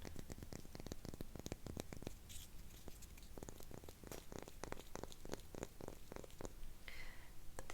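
Rapid fingertip-style taps on the lid of a candle jar produce a stream of short, dry, muted knocks with a low, hollow body and almost no ring. The sound resembles tapping on cork coasters.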